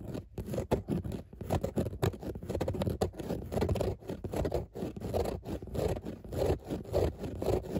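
Long nails scratch rapidly over grey textile car seat upholstery with raised embossed dots. The result is a dense, continuous run of rough, low-heavy scraping and rustling strokes that rise and fall in intensity throughout.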